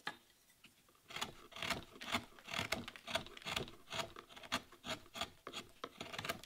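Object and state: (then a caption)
Wooden relief panel being carved. A chisel shaves and scrapes a solid wood relief panel carved with a damask rose leaf. After a near-silent first second, a steady run of short, bright scraping strokes follows at a loose rhythm of about two per second, each a dry rasp with almost no ring.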